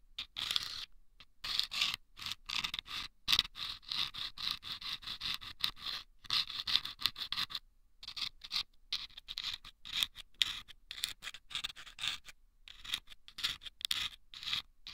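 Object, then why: Small paper tube lined with sandpaper, scraped by a bamboo pick. A bamboo ear pick scrapes and scratches inside a small hollow taped paper tube lined with sandpaper, held at the right ear of a microphone. Bursts of dry, high, gritty scraping come in quick irregular strokes with short silent gaps between them. There is almost no low end, and each stroke stops dead with no ring.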